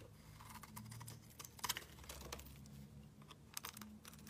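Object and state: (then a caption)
Bar of soap being shaved. A solid pale yellow-green bar of soap is shaved with a metal utility knife blade, cutting long slices. Quiet, dry scraping strokes carry crisp, bright ticks and crackles over a faint low hum, with a few sharper snaps standing out.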